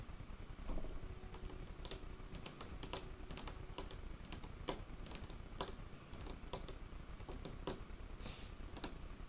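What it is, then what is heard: Wooden table top tapped with fingertips and nails. Fingertips and short nails of both hands tap on the surface of a large, solid dark wood tabletop. A quick, irregular run of separate, crisp clicks and knocks decays almost at once over a steady low rumble.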